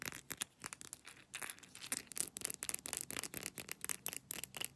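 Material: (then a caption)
Glass. Long nails rapidly tap and rub an amber glass supplement bottle with capsules inside, moving over its label, cap and textured glass bottom. The result is a quiet, fast stream of crisp, bright clicks mixed with dry scratchy rubbing, with almost no low end and each tap dying away instantly.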